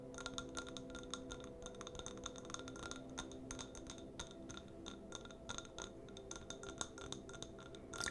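A citrus and white oak candle in a jar is tapped repeatedly with quick, light taps that make short, bright clinks with a high ringing tone. Each tap fades almost at once over a soft, steady low hum.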